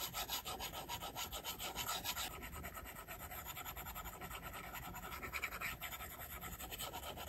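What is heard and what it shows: A plastic stylus tip rubs and scratches in quick repeated strokes across the flat, solid glass screen of an iPad. The result is a steady, bright, raspy scratching texture, and the strokes come at an uneven, brisk pace.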